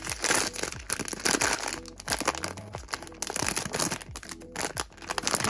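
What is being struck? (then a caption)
Metallized plastic foil pouch. Two hands crumple, squeeze and rub a small sealed silver-white metallized plastic foil blind-box pouch printed with HeyDolls branding, with a figure inside, possibly starting to tear it open. Dense, bright crinkling and crackling rustles run continuously, swelling and easing in irregular bursts with very short, dry decays.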